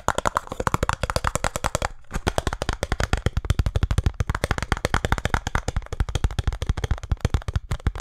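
A small printed cardboard box for a speed cube is held in both hands and tapped and scratched quickly with fingertips and nails. The result is a rapid stream of short, dull, hollow taps with light scratchy texture, continuing with only a brief pause near the two-second mark.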